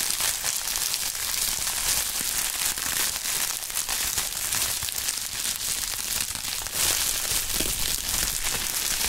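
A large sheet of clear polyethylene bubble wrap is spread out and crinkled by gloved hands using the fingertips. A dense, continuous bright crinkling and crackling holds a steady level throughout, with very little low end.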